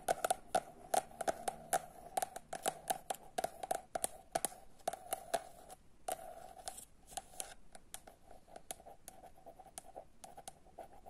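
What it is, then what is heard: Paperback book, cardboard cover. A rapid run of crisp, papery nail taps with a mid-pitched knock in each and no ring at all, mixed with soft scratching strokes. The stiff cardboard cover over packed pages deadens every hit at once. A small, quiet room sits behind it.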